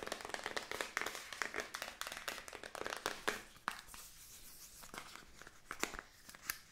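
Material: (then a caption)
Plastic. A small rectangular black plastic makeup palette compact with a round gold-rimmed pan and a hollow case is held in the hands, tapped and clicked with long nails while its lid is handled. Quick, sharp, bright clicks and taps come in a dense flurry for the first few seconds, then thin out into scattered hollow plastic ticks with short pauses between them.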